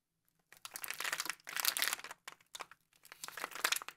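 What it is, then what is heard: Plastic-wrapped cookie package. A full Frutigran biscuit roll in a crinkly plastic wrapper lies on a table while a bare hand and a black-gloved hand press, squeeze and crinkle the wrapper. Bright, dry crackling and crinkling comes in several bursts separated by short pauses, with no low rumble.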